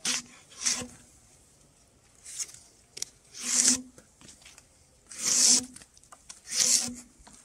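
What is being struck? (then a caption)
Spruce log with bark scraped by a steel draw knife. Gloved hands pull a steel draw knife along a large, solid, round spruce log lying on a log rack, scraping and peeling off its bark. Several separate strokes are heard as bright, rasping scrapes with quiet pauses between them, the longer pulls louder and fuller.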